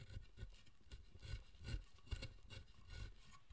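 A chisel scrapes and pares the surface of a solid pale wooden statue of the guardian king Zōchōten, held in the hand. The clip carries five short, rasping strokes with a bright, airy hiss over a low, rumbling body. The figure is turned at the end.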